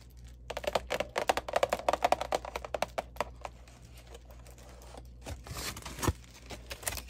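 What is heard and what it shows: Long dark-painted nails tap rapidly on the closed lid of a large red, glossy, embossed heart-shaped cardboard candy box resting on a wooden table, producing a quick series of dry, hollow clicks with a papery mid-range tone. The tapping then gives way to softer scratching across the lid, with brief bursts of bright, rustling noise near the end.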